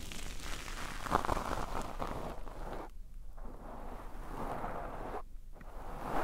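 Both palms and fingertips rub and brush over a soft, porous black foam windscreen on a microphone in a slow, massage-like motion. The result is a steady, dense, muffled rustling and swishing weighted toward the low end, with short near-silent pauses around the third and fifth seconds between strokes.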